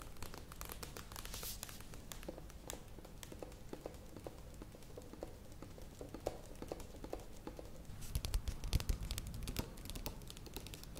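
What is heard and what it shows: A plastic yogurt tub is turned and then lifted in one hand while long nails tap and scratch its curved side. The result is a quiet, irregular stream of quick, dry clicks and scratchy rustling over a low rumble. The tapping grows louder and denser near the end.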